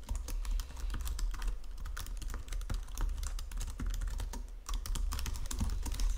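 Fingertips with long nails type steadily on a white plastic Logitech full-size keyboard under green lighting. Rapid, crisp clicks and clacks of the keys run throughout over a constant low hum, with a brief lull near the middle before the typing picks back up.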